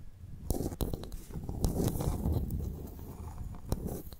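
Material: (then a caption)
Shell. A pearl clam's shell is tapped and scratched before the clam is opened to extract its pearl. Sharp, bright clicks from the taps stand out over a steady low, rumbling scrape that fills the clip, with no speech.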